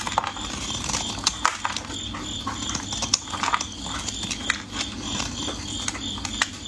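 A metal blade scrapes and shaves pieces off a solid orange bar of soap, already partly carved and held in gloved fingers. Dry, crumbly scratching and cutting strokes make a steady bright rasp, broken by sharp, quick clicks as flakes break away.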